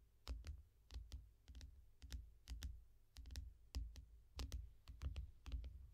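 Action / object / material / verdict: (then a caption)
tap / glass tablet screen in foam rubber case / glass / none. Both hands tap long nails on the glass screen of a small tablet lying flat in a yellow foam rubber case. Quiet, irregular clusters of sharp, bright clicks each carry a dull low thump and die away almost instantly.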